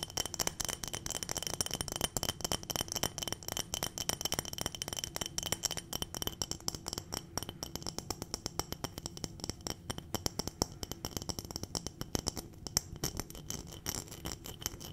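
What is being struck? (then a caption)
Glass jar filled with dried berries. A full, clear glass jar of dried berries is tapped with long nails and tilted. Rapid, dense clicks and sharp glassy ticks sound continuously, with the dried berries rattling inside throughout. The sound is bright and crisp, with little low end.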